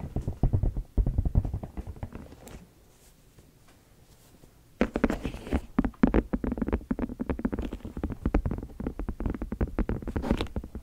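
A small, hollow, apparently empty white and clear silicone food container is held in both hands right around the microphone while fingertips and long nails tap and squeeze it. Dense runs of soft, squishy, low thuds fill the first two and a half seconds, then fade to near silence for about two seconds. The tapping returns at the same dense pace, brighter and more crackly, through to the end.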